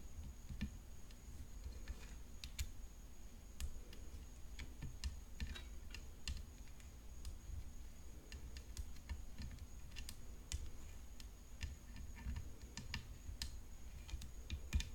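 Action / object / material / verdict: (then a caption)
tap / graphite composite tennis racket frame / graphite composite / none. Long fingernails tap the hollow frame of a graphite composite tennis racket decorated with rhinestones, producing quick, dry, bright clicks at an uneven pace. The taps are soft and die away almost instantly over a steady low rumble, with a faint high whine running throughout.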